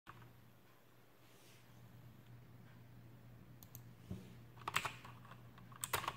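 Fingertips type on an Aukey KM-G6 full-size backlit mechanical keyboard with plastic keycaps and clicky Outemu blue switches, resting on a desk. After a stretch of quiet low hum, seven sharp, bright keystroke clicks come in the second half, some in quick pairs. Each click is crisp and dies away almost at once.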